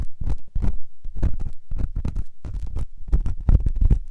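A metal ear pick scrapes inside the ear canal of a white solid silicone ear on a binaural microphone. It makes a run of deep, muffled scraping and rustling bursts, with nearly all of the sound in a low rumble around 66 Hz. Each scrape dies away quickly.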